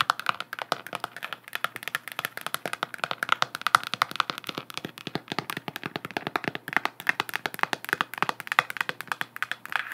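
Long nails rapidly tap and scratch all over a hollow, galaxy-print plastic sphere lamp held up close. They make a steady stream of short, dry, clicky taps with a bright, hollow plastic tone and almost no low end. Each tap dies away instantly, with faint scratchy rustle in between.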